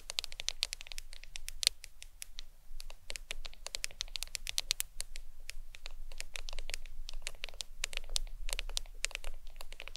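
Long acrylic nails tap and scratch rapidly across the glass screen of a black smartphone lying flat on a towel. The result is a steady stream of sharp, bright, dry clicks with almost no ring, over a faint low rumble.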